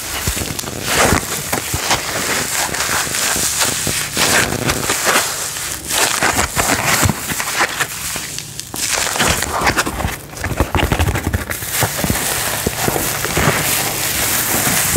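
A folded white paper towel sheet is held in both hands and rubbed and crinkled with the fingertips. It makes a steady, dense, bright crinkling and rustling with crackly bursts, rising and falling in loudness for the whole clip.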